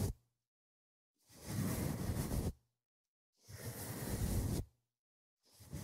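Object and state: Nothing is struck.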